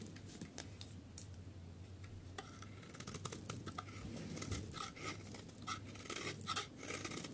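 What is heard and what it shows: A metal utility knife blade scrapes the surface of a solid yellow dry soap bar held in hand, shaving it into thin curls. Quick, crisp, bright scratching and crackling strokes repeat throughout, growing denser and louder toward the end. A steady low hum runs underneath.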